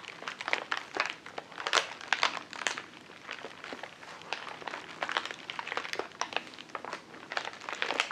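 A large white plastic poly mailer bag lies flat on a table and is rubbed and crinkled with the fingertips of both hands. The result is a steady run of quick, dry crinkles and crackles that are bright and papery, with no low end and louder bursts scattered throughout.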